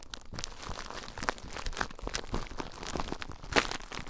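Fingertips with short nails squeeze and crinkle clear plastic bubble wrap bundled around a recorder, popping the bubbles. The result is a dense run of sharp crackles and small snapping pops over a soft rustle, with a few brighter, louder pops standing out.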